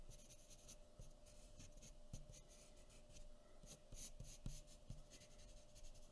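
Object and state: Paper drawing sheet.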